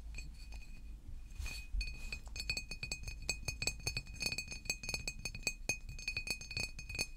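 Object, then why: Large glass water bottle. A large green glass water bottle is held and turned while fingernails tap on it in rapid, irregular clicks. Each tap gives a short, bright glassy clink with a steady ringing tone near 2.5 kHz, over a faint low rumble.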